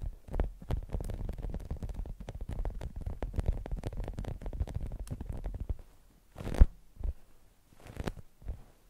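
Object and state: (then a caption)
Polyurethane foam squishy toy. Long acrylic nails tap and scratch the red foam top of a polyurethane foam French-fries squishy toy lying on a beeswax wrap. Dense, soft, muffled low thuds and scratches run steadily for about six seconds. After a brief pause, a few separate scratchy bursts follow.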